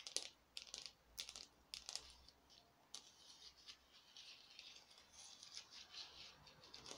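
A small glittery orange craft pumpkin, foam or plastic, is held in both hands and tapped with long nails on its ribbed sides. Quiet, bright, dry clicks ring out as separate taps at first, then turn into faster, softer, scratchy tapping. There is almost no low end, and each tap dies away almost instantly.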